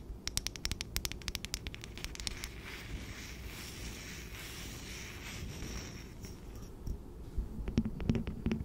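Long nails tap, scratch and rub the top and rim of a round wooden bamboo jar lid, a solid disc held alone in the hands. Quick, bright, uneven clicks open the clip and give way to a steady, soft scratching rustle over a low rumble. Sharper taps with a faint hollow ring return at the end.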